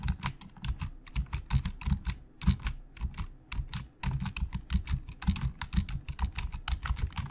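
Fingertips of both hands type fast on the hollow plastic keys of a black plastic Logitech full-size keyboard resting on a desk. The result is a rapid, steady stream of short clacks with a low, thuddy body and bright, crisp tops, each dying away almost instantly. There is a brief lull just before the typing resumes at the same pace.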